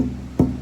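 A single tap on the wooden top of a StewMac dreadnought acoustic guitar kit, testing its tap tone, gives a dull, low thump pitched around 250 Hz that dies away almost at once with little ring. This spot is judged a slight dead spot, which is to be shaved down with a chisel to help the top flex and ring more.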